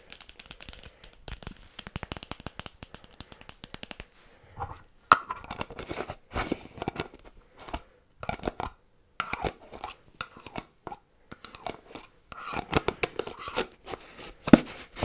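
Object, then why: Small metal candle tin. A small round black metal candle tin holding solid white candle wax, with its lid off, is held in the hand and scratched with fingernails along its outer metal side. Quick bursts of dry, crisp scratching and tapping come in rapid runs separated by brief pauses, with a faint low tone around 250 Hz under the bright scrape.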